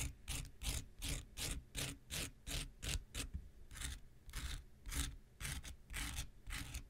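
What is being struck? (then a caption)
Foam nail buffer block. A handheld pink rectangular nail buffer block of solid foam with an abrasive surface is scratched with an x-acto knife blade. A steady, slightly uneven series of dry rasping strokes follows, each a short burst of bright gritty hiss over a low rumble, with brief pauses between.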